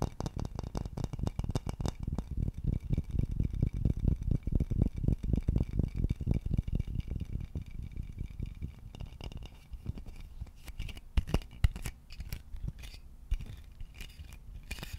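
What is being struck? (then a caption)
Wooden vase. A hollow, polished wooden vase with a bulbous body is scratched and tapped with short nails and fingertips. Rapid, dense, dry taps give a low, hollow thumping that fades quickly after each hit. Partway through, the tapping becomes quieter and sparser, broken by a few sharper, louder knocks.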